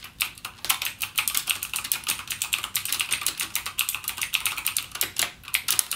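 Fingertips type continuously on a backlit mechanical gaming keyboard with plastic keycaps and clicky Cherry MX Blue switches. The result is a rapid, uneven stream of sharp, bright clicks with almost no low end, each dying away almost instantly.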